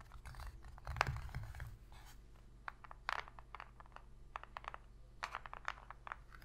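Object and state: Cardboard box lid.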